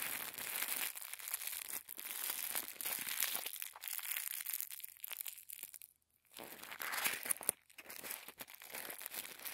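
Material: Paper.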